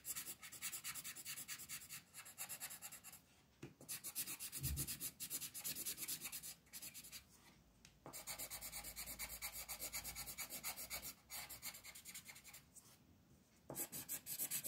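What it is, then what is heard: Colored pencil on paper sheet. A multicolor striped wooden pencil rubs and scratches in quick strokes across a flat printed paper coloring sheet on a desk, while the other hand holds the sheet. It makes a bright, dry, rasping scratch in fast bursts, broken by a few short, quiet pauses between runs of strokes.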